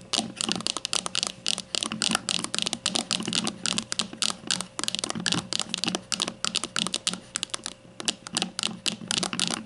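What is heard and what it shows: Long nails tap and scratch the label area of a grey plastic deodorant stick standing upright. The result is a fast, steady stream of bright, dry clicks and scrapes with almost no ring, and little low end beneath a faint hum.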